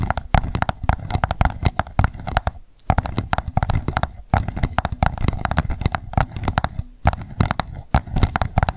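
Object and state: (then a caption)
Plastic cup tapped with nails. An upside-down empty pink plastic cup is tapped on its sides and base with long nails in a fast, continuous run of sharp clicks. The taps are dense and dry with almost no ring, and each one carries a hollow, low thud under the bright click. There are brief pauses near 2.7 and 7 seconds.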